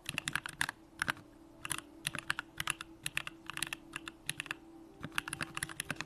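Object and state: Mechanical keyboard typing.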